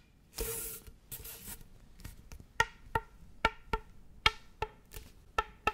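Fingernails scratch along the ridges of a hollow, flexible orange corrugated plastic tube held close to the mic. Two brief bursts of bright, raspy scraping are followed by a string of sharp, irregular clicks with a short hollow, tonal ring.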